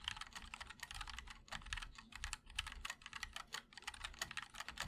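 A 60% mechanical keyboard with white and black ABS keycaps in a black aluminum case is typed on continuously with the fingertips of both hands. Rapid, overlapping keystrokes produce a steady, bright clatter of short, dry clicks that die away almost instantly. Bursts of typing are separated by brief pauses.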